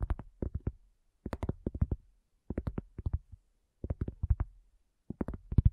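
A round, flat, solid cork coaster on a black table, with a recorder resting on its edge, is lightly tapped and scratched with long nails and fingertips. Five quick bursts of soft, dull, low thuds are heard, each dying away almost instantly with no ring, separated by short pauses.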